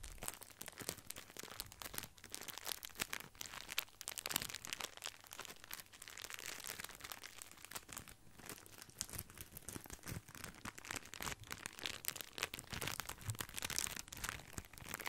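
A small bundle of grissini breadsticks in clear plastic wrap is rubbed and scratched with fingertips close to the microphone. A steady, dense, bright crinkling and crackling of the plastic runs throughout, with quick crisp ticks and occasional slightly louder scrapes.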